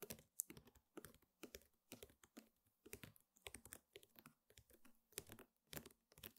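Long painted fingernails on both hands tap rapidly across a flat, square woven rattan table mat in a typing-like motion and scratch along its weave. The result is quiet bursts of dry, bright clicking with very short ticks and faint scratchy rustle between them, much like fast keyboard typing.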